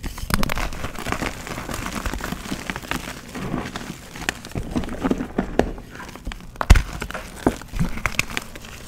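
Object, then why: Pressed gym chalk pieces. Bare hands crush and rub pressed gym chalk donut pieces into powder over loose chalk, squeezing the solid, crumbly material between fingertips and palms. A steady, low-heavy crunching and crackling runs throughout, broken by occasional sharper snaps as pieces give way.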